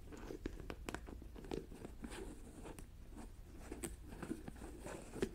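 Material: Plastic.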